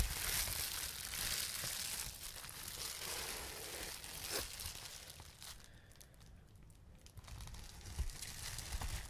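A clear plastic bubble wrap sheet with small air bubbles is pressed and squeezed with fingertips, giving steady bright crinkling mixed with sharp little pops. The sound stays dense for the first few seconds, dips quieter toward the middle, then picks up again with more pops near the end.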